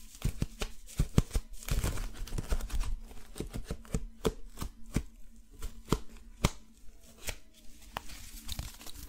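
A handheld folding fan of brown paper with wooden ribs is opened, closed and rubbed with the hands. The result is a quick, irregular run of short, dry clicks and taps with soft papery rustling between them. The sound is mostly low and dull, with little high brightness.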